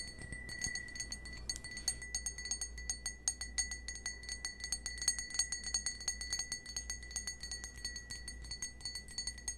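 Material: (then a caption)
Crystal glass. A small, hollow, empty cut-crystal stemmed wine glass is held in the hand and tapped with fingernails in quick, uneven bursts. Each tap gives a short, bright, glassy clink with a high ringing tone that dies away almost at once, over a steady low hum.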